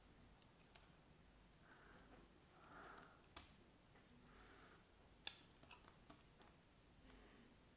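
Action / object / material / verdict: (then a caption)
scrape / solid bar soap cut with a craft knife / soap / none. A craft knife blade scrapes and cuts a solid block of cream bar soap held in the hand. Soft, breathy scraping swishes alternate with crisp, bright clicks as the blade bites into the soap, the sharpest snap landing just past the midpoint. A few lighter ticks follow before the scraping fades, all at a quiet level.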